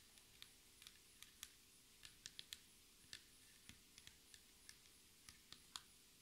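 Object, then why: Laminated table top. Long red nail tips tap rapidly with both hands, typing-like, on a solid black speckled laminated table top. Eighteen quiet, sharp clicks come in an irregular patter, each bright and crisp with almost no ring, over faint low background noise.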